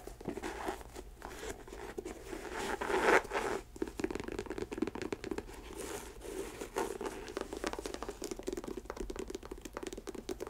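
Long acrylic nails scratch and tap the upper of an empty white leather athletic sneaker with laces, held in a lap. A dense, crinkly stream of scratches and light taps sits mostly in the low-mid range, with a louder rustling swell around three seconds before settling back to steady soft scratching.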